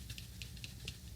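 An older metal aerosol spray paint can is shaken, but its agitator ball is stuck and makes almost no rattle. Only faint, bright swishing bursts come through over a steady low hum. The can is faulty because the ball will not move.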